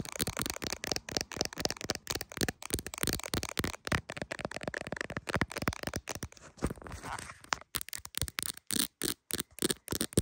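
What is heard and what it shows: Very long pointed acrylic nails tap quickly around the back camera and clear plastic case of a hand-sized iPhone held in one hand. The result is a dense run of short, dry clicks with bright crackly edges and almost no ring. Near the end, the taps spread out with brief silences between them.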